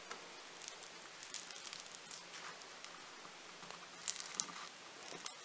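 A large, solid lump of purple foam-bead clay (floam) is pressed and pinched by thumbs with nails. This gives a quiet, continuous bright crackling and sizzling, with sharper pops scattered throughout and almost no low end.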